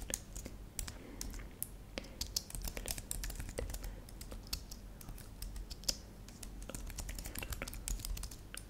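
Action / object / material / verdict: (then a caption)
tap / plastic computer keyboard / plastic / none. Long manicured nails and fingertips rapidly tap the plastic keys of a thin, solid white/silver computer keyboard lit purple. Quick, dry, bright clicks come in an uneven, continuous stream over a steady low hum, each tap dying away almost instantly.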